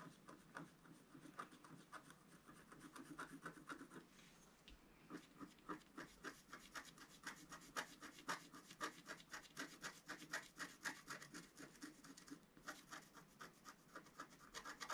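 A wooden stylus scratches hatching into the middle of a flat, black-coated scratch-art sheet, about A4 in size, lying on a table. Quick, dry, rasping strokes repeat at roughly two per second, with a brief pause around the four-second mark. Each stroke has a bright, papery edge, centered near 1.7 kHz, that fades almost instantly.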